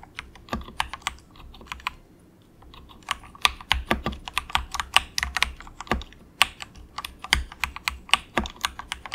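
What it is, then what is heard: Plastic mechanical keyboard being typed on. A cheap compact mechanical keyboard with grey and orange plastic keycaps and a hollow plastic case is typed on softly, with the fingertips of both hands pressing keys in quick taps. The taps are bright, short plastic clicks with little low end, coming in rapid uneven bursts, with a brief quieter pause around the two-second mark before the typing picks up again.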